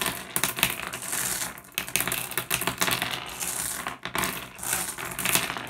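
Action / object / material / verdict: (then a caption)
drop / small flat glass gems on wood / glass / none. Fingertips pick up and drop small, solid, blue, iridescent, flat glass gems onto a pile on a wooden surface. They make a steady stream of bright, overlapping clicks and clinks that die away almost instantly.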